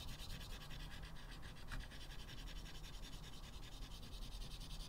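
A small piece of white chalk held in the fingertips makes many quick scratching strokes across a flat blackboard in a wooden frame. The result is a steady, soft, dry scratching and rubbing sound with bright, gritty streaks over a low rumble, with no clear pauses.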